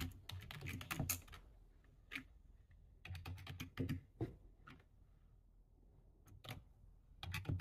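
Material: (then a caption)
Plastic. Fingertips type on the keys of a low-profile plastic computer keyboard, shown close up. Quick runs of sharp, bright key clicks over a soft low thump come in bursts, broken by short quiet pauses between flurries of typing.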